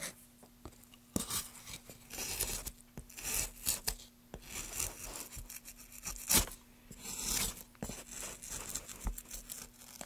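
Gloved hands work a metal gouge across a solid, light wooden plank, scraping and carving its surface. Irregular bursts of bright, rasping scrapes come in short strokes over a faint, steady low hum, with quiet pauses between passes.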